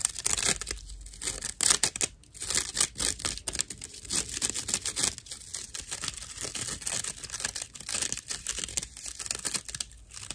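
A slice of dried natural loofah sponge, held upright and flat in both hands, is scratched with long acrylic nails. The result is a steady run of dry, rough scratching and crackling bursts, bright and papery like tearing, with brief pauses between strokes.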